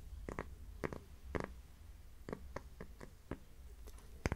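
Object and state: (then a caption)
Cork coaster tapped and scratched with nails. A thin, flat, solid heart-shaped cork coaster held in one hand is scratched and tapped with long nails. Quiet, short, dry taps and soft scratches come at uneven intervals over a low, muffled rumble, each tap dying away almost instantly.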